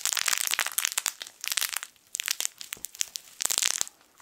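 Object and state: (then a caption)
Fabric crinkle toy with crinkle film inside. A yellow sun-shaped soft fabric crinkle toy, a plush sun with crinkle film inside, is squeezed and crushed with the fingertips of both hands. The result is dry, bright crinkling and crunching in quick bursts with short pauses between them, with almost no low end.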